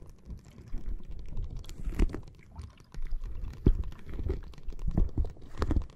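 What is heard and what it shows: Long nails tap and scratch a clear plastic bag full of red water beads lying flat on a microphone. The sound is a muffled, bass-heavy run of soft squishy taps and rustling scratches, with a few sharper clicks that die away almost instantly.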